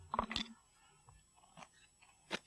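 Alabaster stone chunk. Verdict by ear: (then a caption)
Soft. A chunk is knocked off a piece of soft, speckled alabaster, the stone so soft it could be crumbled by hand. Four short, dry, crunchy cracks are heard: two close together at the start, then a fainter one and a final sharp snap. This shows how easily the stone breaks.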